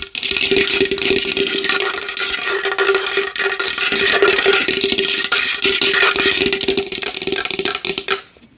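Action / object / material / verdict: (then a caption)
tap / large wooden bowl / wood / none. A large wooden bowl is tapped fast and hard with long nails, giving a dense, continuous run of bright, clicky taps with a steady hollow ring around 395 Hz. The tapping stays busy and even for about eight seconds, then stops and fades out.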